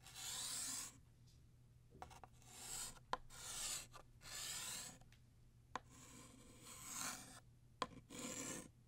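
Blue chalk is drawn across a flat black chalkboard in long strokes, sketching the left tail of a ribbon. Each stroke is a bright, dry rasp that swells and fades. Brief sharp taps of chalk against the board fall between strokes, with quiet pauses in between.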